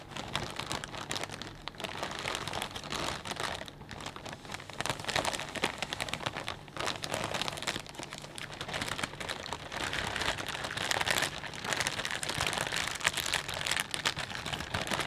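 Fingertips squeeze and crinkle a clear plastic bag full of potato chips, making a steady, dense stream of bright crackling and rustling. The crinkles run continuously for the whole clip at a fairly even level, with small swells in loudness as the bag is worked.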